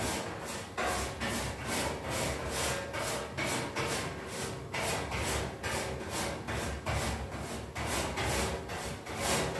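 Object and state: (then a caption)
Metal radiator grille being scrubbed. A red-handled brush with dark bristles scrubs back and forth across the perforated grille of a large, white-painted, hollow, wall-mounted metal radiator panel. The result is a steady, broadband scratchy rasp, bright at the top, with stroke-by-stroke swells about every second and a faint metallic ring around 560 Hz.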